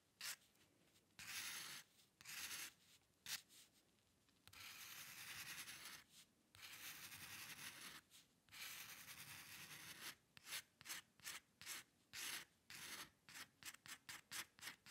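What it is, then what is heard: Paper sheet scratched by a pen nib. The metal nib of a dip pen scratches across a flat sheet of white drawing paper while drawing hair lines. Long, bright, dry scratching strokes come first, then a run of short, quick flicks near the end, with quiet gaps between them.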